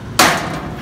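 A real hammer strikes a solid iron pole taken from a pile of poles, struck to show it is genuine iron and not a prop. A single sharp metallic clang with a bright attack rings out and decays over roughly a third of a second, leaving a faint tail.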